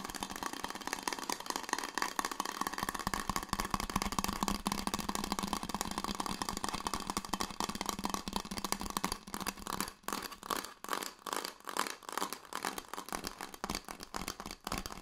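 A red insulated stainless steel water bottle is scratched and tapped with fingertips and nails. A dense, steady scratching with a low hum runs for about nine seconds, then gives way to separate bright taps and short scrapes with brief gaps between them.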